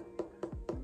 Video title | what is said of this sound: How to Trim a Plate on a Foam Bat | listen to the sound that it makes when you tap it before you start trimming so that's pretty thick there